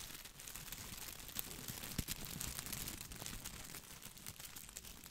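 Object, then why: Artificial boxwood ball, plastic leaves. Fingertips brush and scratch the plastic leaves of an artificial boxwood ball held close to the mic. A quiet, dense, bright crinkling rustle runs throughout, with a few sharper clicks and snaps standing out.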